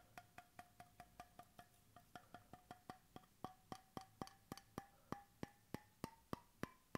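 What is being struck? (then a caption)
Bamboo-capped stainless steel bottle. Fingertips tap 28 times on the end of a bamboo wooden cap fitted to a stainless steel bottle, held close to the mic. Each tap is a short, dry, hollow knock with a brief tonal ring near 700 Hz. Over the taps the pitch climbs slowly toward about 1 kHz and the knocks grow louder.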